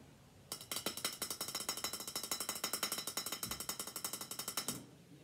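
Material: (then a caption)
Aluminum. Fingers rapidly tap on an empty aluminum Coke bottle, producing a fast, uneven run of about forty sharp, bright, tinny clicks. The taps are dominated by high frequencies, die away almost instantly, and continue for about four seconds before stopping.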